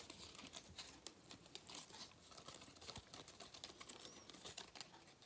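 A thin gold-foil cardboard galette des rois crown, a flat hollow band held in both hands, is crinkled and rubbed with fingertips near the face. Quiet, bright crackling and papery rustling come in a steady run of many small, quick ticks with almost no low end.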